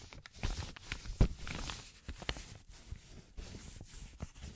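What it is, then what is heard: Paper banknote being crinkled. Black-gloved hands fold, rub and crinkle a yellow paper banknote. Soft crackling rustles come in irregular bursts with a few sharper crinkles, and there is no talking.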